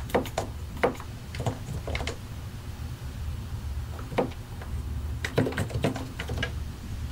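Both hands type continuously with the fingertips on a solid white and grey plastic mechanical keyboard, pressing and tapping the keycaps over the switches. Short, dry clacks and taps come in quick, irregular bursts with no ring, over a steady low rumble.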